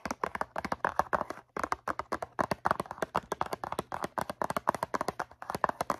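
Long nails tap rapidly across the faces of a medium-size, hollow blue cardboard Q-tips box filled with cotton swabs. About 36 quick, dry clicks sound with almost no ring, centered near 950 Hz, over a faint low hum.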